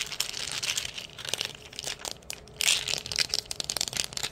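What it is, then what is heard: Plastic pill bottle. Long nails and fingertips scratch and squeeze a small, hollow, white plastic pain-reliever bottle with a ridged cap and a paper label, working around both the body and the cap. The sound is a fast, dense stream of bright, crinkly scratches and short clicks with almost no low end. It swells into a louder burst of rasping partway through before returning to quick, sharp scrapes.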